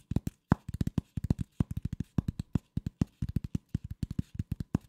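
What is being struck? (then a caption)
Corrugated cardboard sheet. A flat piece of corrugated cardboard, held in both hands, is scratched and tapped with the fingers. About 33 quick, dry, dull taps land in uneven bursts, each a low thud that dies away almost instantly.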